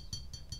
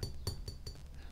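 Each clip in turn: First: Three light taps give a bright, high 'ting' that rings briefly, a metallic sound rather than a ceramic clunk. Second: Four quick, bright clicks that die almost at once: a glazed ceramic body, not the metal it imitates.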